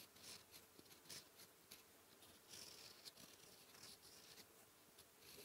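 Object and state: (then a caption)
Pen nib writing on lined paper. A metal fountain pen nib, held in the fingertips, scratches across a flat sheet of white lined writing paper resting solid on a surface while writing Korean characters in blue ink. Quiet, bright, dry scratching comes in short strokes and bursts with brief pauses between them. There is almost no low end or ring.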